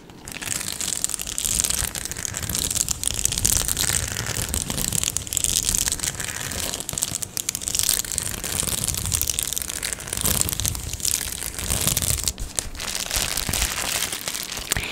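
A medium-sized white and blue plastic Amazon Prime padded mailer, hollow and apparently holding something, is held up and scratched and crinkled with long nails and fingertips. The result is a steady, dense crinkling and scratching with bright, hissy highs and some low rumble from handling.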